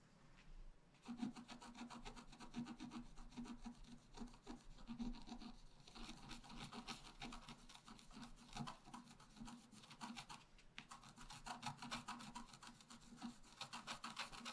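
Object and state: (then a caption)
Scratch-art paper card being scratched. A wooden stylus scratches across the lower left area of a flat, black-coated scratch-art paper card. It makes a quiet, steady, dry scratching rasp of rapid, closely spaced strokes with bright, papery grit. Brief pauses come near the start and around ten seconds.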